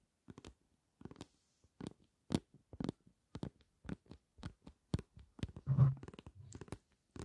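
A medium, flat, translucent green plastic bottle filled with aloe vera gel is held in both hands and rapidly tapped and scratched with long nails. Quick bursts of soft, dull, low taps come in small clusters, each dying away almost at once, with a longer scratchy rub near the end.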